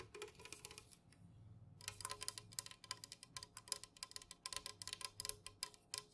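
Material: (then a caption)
Metal. Rapid fingernail tapping with both hands on the body of a tall, unopened, full metal can of Jumex guava nectar lying on its side on a fuzzy cloth. Quick, bright, dry clicks with very short ring come in fast irregular bursts, briefly thinning out near the one-second mark before picking up again.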